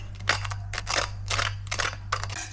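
The crispy batter coating of a homemade fried corn dog is tapped or crunched, giving five short, bright, dry crackling bursts over a steady low hum. The fried batter sounds very crispy.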